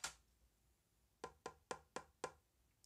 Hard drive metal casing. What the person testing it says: it is extremely light and it sounds empty. Let me show you. It sounds extremely empty